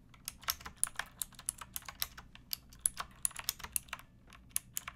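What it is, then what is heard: Plastic mechanical keyboard. Fingertips with long nails type on a pink backlit mechanical keyboard with plastic keycaps resting on a wooden block. About two dozen quick, bright, clicky clacks come at an uneven pace, each dying away almost instantly. A faint low hum sits steadily underneath.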